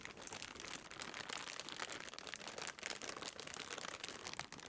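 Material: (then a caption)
Plastic. A clear, thin plastic bread bag partly holding a loaf is squeezed and crinkled in the hands near the microphone. It gives a continuous, bright crumpling and crackling with rapid sharp crinkles. There is almost no low end.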